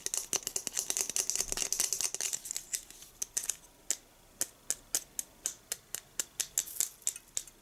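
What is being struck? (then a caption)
Plastic star-shaped Christmas ornament. A small, glossy, hollow blue plastic star-shaped Christmas tree ornament with a silver cap and hanger is held in the hand in front of an artificial tree and handled and rubbed with fingertips and nails. Bright, dry plastic clicks and scratchy taps come in a dense flurry at first, then settle into sharp, evenly spaced ticks with quiet gaps between them.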